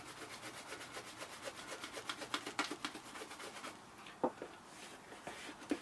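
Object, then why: Leather ankle boot brushed with a horsehair brush. A horsehair shine brush is rubbed back and forth over the upper and welt of a hollow, empty, polished brown leather Thursday Boots President ankle boot held in hand, with a second boot standing still nearby, as part of fixing scuffs and cracks to restore a mirror shine. Rapid, bright, bristly swishes come at about four strokes per second for the first few seconds, then thin out into softer, sparser strokes broken by a few sharper scrapes.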